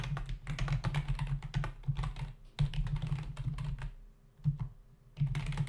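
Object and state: Plastic computer keyboard.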